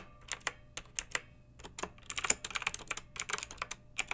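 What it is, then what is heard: Plastic mechanical keyboard. Fingertips with long nails type continuously on a pink backlit plastic mechanical keyboard with round keycaps. The result is a quick, irregular stream of sharp, bright clacks with almost no low end, and each click dies away instantly.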